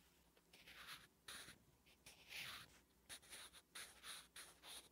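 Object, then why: Graphite pencil on paper notebook page. A wooden graphite pencil writes Korean letters on a flat, solid lined paper notebook page, making bright scratching strokes. About eight separate strokes are heard in quick succession, each a soft, high, papery scratch with short pauses between them.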